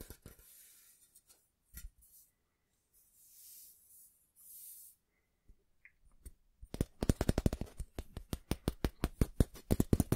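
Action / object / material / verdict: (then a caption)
tap / stainless steel ruler / steel / none. A long, flat, thin stainless steel ruler is held in both hands above a microphone while fingertips and nails tap and scratch along its surface. The first six seconds bring soft, scattered scrapes and breathy swishes with quiet gaps. Then a quick, uneven run of short, dry metallic taps follows with almost no ring.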